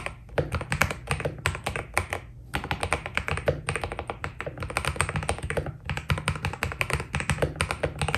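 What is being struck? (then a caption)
Mechanical keyboard with PBT plastic keycaps. Fingertips type steadily on a white Keydous NJ80 mechanical keyboard with PBT plastic keycaps, producing a fast, dense stream of short, crisp key taps with very little ring. Brief pauses break the rhythm, and a steady low rumble runs underneath the bright clacks throughout.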